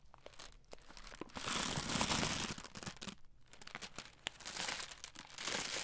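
A red plastic-film Skittles candy bag is held in both hands and crinkled and scrunched with the fingers close to the mic. Bright, dense crackling swells into a loud scrunch around the middle, then breaks into sharper scattered crinkles and snaps.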